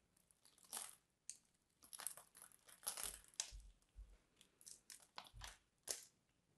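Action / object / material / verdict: scrape / solid bar soap / soap / none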